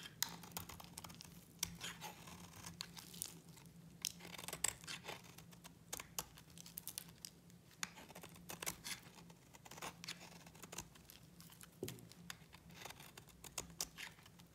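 A utility knife blade scrapes a solid pink bar of dry soap, shaving off flakes. Quiet, dry, bright scratching and crinkling rasps repeat with many short crisp ticks over a faint steady low hum, each scrape stopping dead with no ring.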